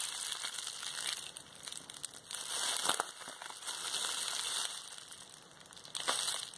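Fingertips squeeze and press the bubbles of a large, hollow, cylindrical roll of clear plastic bubble wrap held horizontally in both hands. The result is a steady, bright crinkling dotted with sharp little pops, with louder crackling bursts near the middle and end.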